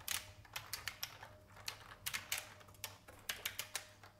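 Fingertip typing with both hands on a vintage beige IBM mechanical keyboard with plastic keys. About sixteen sharp, bright clicks come in an uneven rhythm with short decays, and a faint low hum sits under them.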